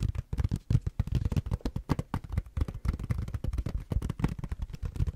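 Fingertips and nails tap and scratch the back and edge of a tablet in a blue silicone rubber case, held horizontally. The result is a rapid, uneven stream of dull, low, soft thumps with brief scratchy clicks. Each hit dies away almost instantly.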